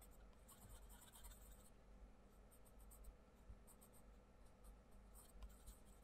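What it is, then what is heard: Pencil colouring on a paper book page. A wooden coloured pencil makes rubbing strokes across the paper page of an open paperback colouring book, colouring in a butterfly. Soft, dry scratching comes in short bright bursts over a steady low hum. The clip stays quiet throughout.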